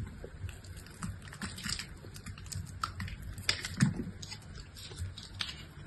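A solid pink bar of soap held in the hand is scored and sliced along its edge with a utility-knife blade. It gives a quiet, steady run of crisp scraping and clicky ticks with bright edges, over soft low thuds and a faint background hiss.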